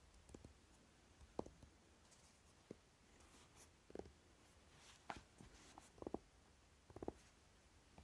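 Fingernails tap the side edge of a flat, rectangular Naked eyeshadow palette, a hollow, dark, velvet-flocked tin case, then tap and scratch its lid. About ten short, dull, muted taps sound sparsely over a quiet low background, with soft scratching between them. Each tap dies away almost instantly.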